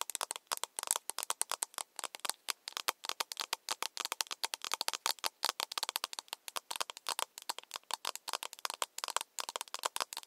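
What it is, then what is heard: Plastic cup tapped with nails. A small, empty, hollow plastic cup is held in both hands and tapped on its side with long nails. About 65 quick, crisp clicks come in an uneven run, each dying away almost at once. The sound is bright and hollow, with no low end.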